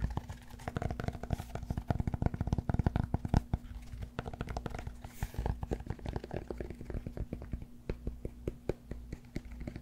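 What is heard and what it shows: A solid cork yoga block is held in one hand close to the microphone while the fingertips of the other hand scratch and tap its face and edge. The result is a dense, continuous run of soft, dry taps and scratches, mostly low and muffled with little high-end, each dying away almost instantly over a faint steady low hum.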